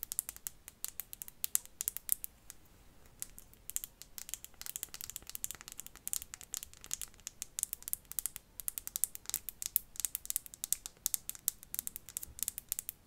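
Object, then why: Perfume bottle, probably glass. Fingernails tap rapidly on a perfume bottle, possibly glass, making quiet, bright, clicky ticks. The taps come in quick, uneven bursts, each dying out instantly with almost no ring and very little low end.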